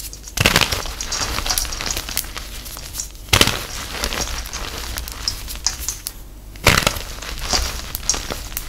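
Two hands with long acrylic nails squeeze and crush soft, crumbly pink dyed gym chalk, reformed heart and star pieces with loose powder, in a metal tin bowl using fingers and palms. Dense, bright crackling crunches fill the clip, with three louder crushing bursts standing out as the solid chalk breaks down into powder.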